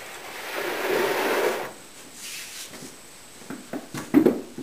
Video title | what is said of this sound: Making a Veneered Sideboard Part 5-3, Curly Maple Veneering: Andrew Pitts~FurnitureMaker | I'm tapping the veneer see if there's any Hollow spots look like we got a pretty good Bond on this one